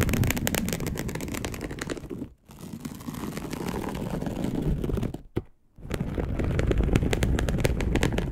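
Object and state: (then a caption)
Polyester mesh sheet being scratched. Long acrylic nails on both hands scratch a dark polyester mesh fabric bed sheet. The result is a dense, rapid, rumbling scratch with mostly low, soft texture. It stops briefly twice, with one small tap inside the second pause before the scratching resumes.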